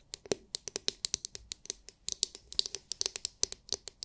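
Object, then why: Hard plastic massage brush shell. Long nails tap and scratch the hard, clear, glitter-filled plastic dome of a palm-sized oval massage brush. About 28 quick, bright clicks sound in an irregular rhythm, each dry and short with almost no ring and very little low end.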